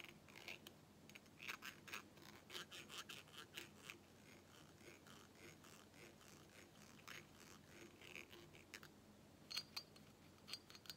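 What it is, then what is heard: Glass carafe tapped and scratched with a plastic straw. A pink plastic straw scratches and taps inside and outside an empty, clear glass carafe that is hollow and tilted. Quiet, bright scraping mixes with a run of short, high, glassy taps that die away almost at once, with a few sharper clicks near the end.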